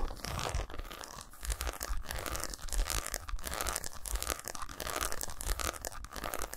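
Fingernails scratch and tap quickly across the squares of a segmented solid milk chocolate bar resting on a towel. The result is a dense, continuous crunchy scratching texture with rapid dry taps mixed in, bright and crackly on top with a soft low thud underneath. It holds at a fairly steady level throughout.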